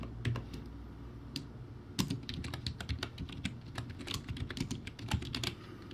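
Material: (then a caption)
Plastic. Fast two-handed fingertip typing on a crappy backlit plastic typewriter-style keyboard with round white plastic keycaps. Rapid, dry plastic clicks with bright tops and very short ring come in quick bursts over a steady low hum.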